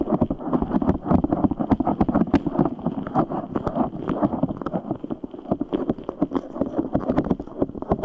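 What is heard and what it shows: A large translucent rubber stress ball full of red gel beads is squeezed and kneaded with the fingertips of both hands. It makes a fast, continuous stream of wet squelches and sharp little clicks with a thick low-mid body and no lasting ring.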